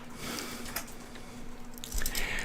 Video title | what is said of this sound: Coin roll hunting half dollars live! Will we have a box battle tonight? | when I drop it on the table sounds just dead